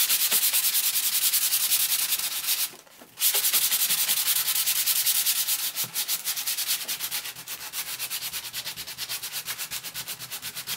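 A hand rubs a sanding block or sandpaper back and forth across a thick children's board book with glossy laminated cardboard pages, lying solid and flat on brown paper. The result is a steady, bright, gritty scratching with rhythmic strokes. It pauses briefly near the three-second mark, then resumes and grows slightly quicker and softer toward the end.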